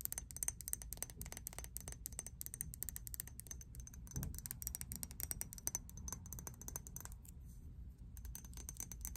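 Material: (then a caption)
Glass. A hand-sized, pink faceted Victoria's Secret glass perfume bottle with a fuzzy cap is tapped rapidly with long acrylic nails. The result is a continuous stream of sharp, bright clicks with a high glassy ring, over a steady low rumble.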